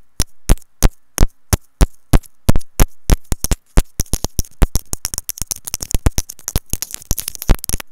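Long nails tap and scratch on a white plastic earphone inline remote and mic, giving sharp clicks with a deep, boomy thump where they strike close to the mic. The taps start evenly spaced, then after about four seconds turn into a faster, denser flurry of bright ticks and scratches.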